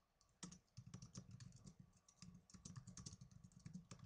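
Fingertips with medium-length blue-painted nails rapidly type on the plastic keys of a small black plastic netbook laptop. A quiet, steady stream of clicky taps is heard, each with a soft low thump and a bright, short click that dies away almost instantly.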